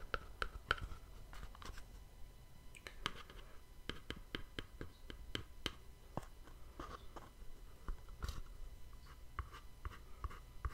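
A small, hollow white cardboard gift box with a black-edged ribbon is held in one hand and tapped and scratched with the fingertips. Quiet, crisp taps come in irregular bursts, each with a short hollow knock around 1.4 kHz and a bright click that dies away almost instantly. Soft scratching fills the gaps over a low background rumble.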